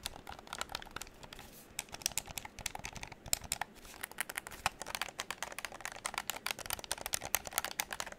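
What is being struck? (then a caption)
Plastic game controller. A hollow pink plastic game controller is held close to the microphone while fingertips rapidly click its buttons and tap its plastic shell. The result is a quick, irregular stream of dry, bright clicks and taps with almost no low end and very short decay, much like fast keyboard typing, over a faint hiss.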